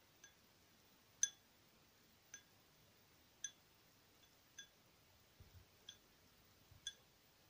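A small, hollow, empty purple patterned glass tealight candle holder is held in one hand and tapped with long acrylic fingernails. Sparse, quiet, bright clinks come about once a second, each a short glassy ping with high overtones that fades almost at once.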